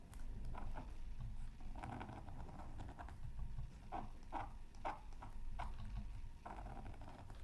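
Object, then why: Coated paper scratch art card scraped with a thin stick. A thin bamboo stick steadily scratches feathery lines into the coating of a flat, thin, solid black-coated scratch art card from a Mythical Creatures Super Scratch Art Pad resting on a mat. Short, dry scraping strokes come in quick bursts, with brief rising and falling rasps over a constant low hum underneath.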